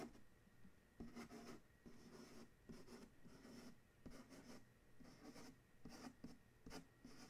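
A fingertip and nail trace and scratch along the printed blue side of a large, hollow corrugated cardboard shipping box. The result is a series of quiet, repeated rubbing strokes with a soft, hollow low body and a bright, scratchy papery edge, separated by short pauses.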